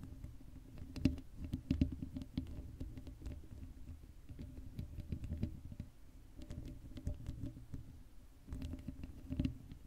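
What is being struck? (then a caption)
Metal mesh microphone grille. Long acrylic nails scratch the hollow black metal mesh grille of an uncovered Blue Yeti microphone while hands cup its dome. The result is a close, dense scratching and rubbing sound, heavy in low rumble with a steady hum, broken by frequent sharp, bright clicks and taps throughout.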